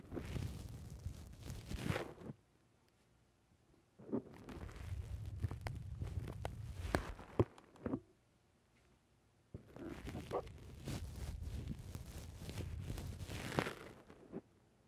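Fingers pinch and squeeze a black rounded foam windscreen on a microphone from the sides. The squeezing comes in three bursts of dense, crackling, rustling friction, heavy in low rumble with a few sharper pops. Near-silent pauses separate the bursts.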